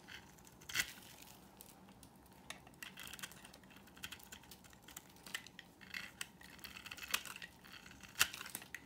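A utility knife blade carves into a solid, dry white oval bar of soap. Quiet, bright, crisp scraping and crunching runs throughout, dotted with small sharp clicks and a few louder snapping cuts near the start and end.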